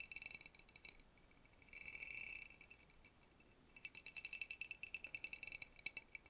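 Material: Glass.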